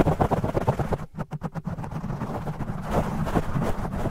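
Fingertips and nails of both hands quickly scratch and tap a large black foam windscreen over a metal studio microphone, with the audio sped up. The result is dense, low, muffled rustling and thumping in an uneven rapid patter, with a brief run of separate, clipped taps partway through.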